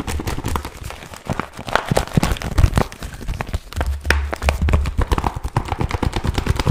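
A flat, glossy pink vinyl pouch with a zipper is held in both hands while fingertips tap, scratch and crinkle it. The result is a dense run of quick, dull, low thumps mixed with soft crinkly rustling and brief scratchy ticks, with no ringing after each touch.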